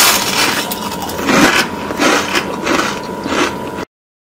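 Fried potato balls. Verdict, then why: Crispy. A fried potato ball, drained on paper towels, is broken or bitten open and gives a series of crisp, crackling crunches. Bright snapping bursts repeat over about four seconds, showing how crispy it is.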